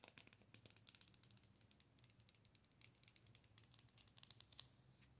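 Long fingernails tap and scratch the face and body of a hollow, glowing owl night light, likely plastic, held up close. Quick, irregular, dry clicks and crinkly scratches dominate the bright range, with a few sharper taps standing out near the end over a faint, steady low hum. The clip is quiet, close and crackly.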